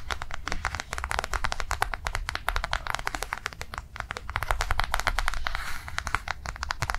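Long nails tap and scratch rapidly on a flat, blue, rectangular soft-plastic cardholder resting on a table. The result is a dense stream of short, dry clicks over a steady low hum, with a brief, brighter scratching rasp near the end.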